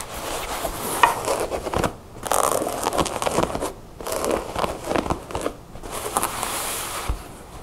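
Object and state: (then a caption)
Denim jeans, scratched. Long nails scratch and rub blue ripped denim jeans that are folded and rolled on a wooden table. Dry, rasping scratches come in dense bursts, broken by short quiet pauses.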